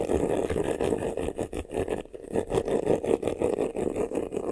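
Fingernails scratch quickly on the lower front of a medium, hollow black vanity case covered in croc-embossed faux leather. A dense, fast, uneven rasping fills the clip, with a midrange hollow tone and brief dips between bursts of strokes.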